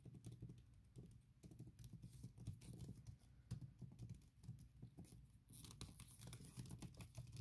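Long nails tap rapidly on a thin printed silicone keyboard cover over MacBook keys, making a quick, uneven patter of soft, muffled clicks. The taps are dull and low with very short decay, and a brighter, hissier texture enters over the last couple of seconds.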